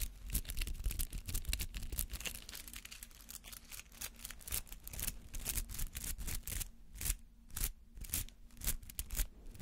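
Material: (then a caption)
Rubber. Fingernails scratch and flick through the white-green bristly petals of a palm-sized rubber artificial flower, making a dense run of quick, bright scratchy flicks over a low rumble. The flicks come rapidly and unevenly, some louder and crisper than others.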